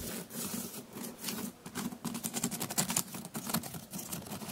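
Fingertips and nails scratch and tap along the braided weave of a hollow, rectangular woven water hyacinth storage basket with a round handle hole, sitting in a white shelf cube. A dense run of short, dry scratches and light taps rustles with a crisp, papery texture over a soft low hum.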